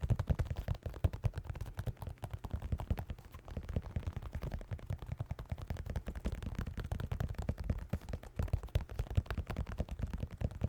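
A pair of white New Balance 608 sneakers, synthetic leather with rubber soles, is tapped in a quick, steady stream of many soft taps over about eleven seconds. The taps are dull, low thuds with almost no brightness and die away almost instantly.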